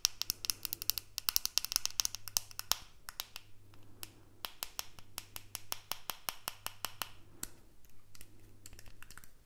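A small, hollow white plastic earbud case is tapped and scratched with the fingernails. Quick, dry, bright clicks and ticks come in rapid, uneven bursts over soft scratching, with almost no ring after each tap. A faint low hum sits underneath.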